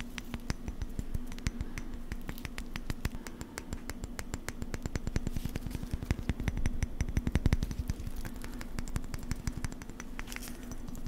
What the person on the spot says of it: it's very close to Nails on a chalkboard but it's not quite there